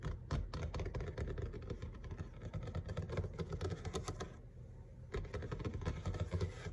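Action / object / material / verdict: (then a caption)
tap / laminate kitchen countertop / laminate / none. Fingertips and short nails of both hands tap fast on a large, flat, solid grey laminate kitchen countertop. The dense, rapid clicking taps carry a dull low thud and die away almost instantly. The tapping briefly eases around the fifth second, then picks back up.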